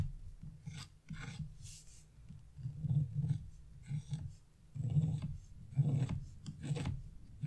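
A metal chisel tip scrapes leaf shapes into a flat, black-coated scratch-off art page in repeated short strokes. Each stroke makes a dry, raspy scratch with a low rumbling body and brief bright hissy streaks, and the bursts come in uneven clusters separated by quiet gaps.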